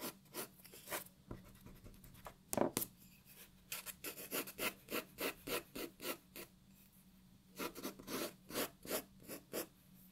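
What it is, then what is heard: Pencil hatching on paper. A graphite pencil hatches on a white paper sheet resting on a wooden table, making quick, dry, scratchy strokes. The strokes come as short bright bursts in uneven runs, with a brief pause in the middle before the hatching picks up again. A faint low hum sits steadily underneath.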